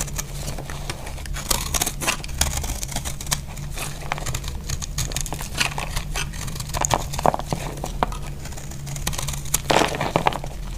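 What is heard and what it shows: A thin knife blade carves and scrapes into a palm-sized, solid, dry pink soap bar held in one hand with long pink nails, sending crumbly flakes piling onto a grey cloth. Dense, dry crinkling and crackling scrapes with brighter sharp snaps sit over a steady low hum throughout.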